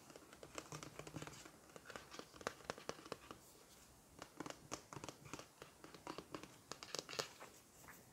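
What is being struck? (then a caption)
Plastic shampoo bottle. A large, full-looking turquoise plastic shampoo bottle with a gold plastic cap is tapped and scratched with long nails on its body and cap. Quick, crisp clicks and scratchy brushes follow one another unevenly, with brief quieter stretches and faint mouth sounds from a lollipop stick.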